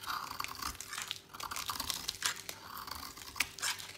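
A utility knife blade carves a solid orange oval bar of dry soap held in the hand, scraping and cutting it into crumbly flakes. Quick, crisp, bright crunching and scraping strokes repeat in an uneven rhythm over a faint steady hum.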